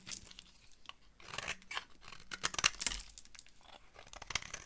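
A utility knife blade carves and scrapes a solid, dry purple bar of soap, and the flakes fall onto a pile of shavings. The result is a dense series of crisp, bright scraping and crumbly tearing sounds, with several louder crunchy cuts in the middle.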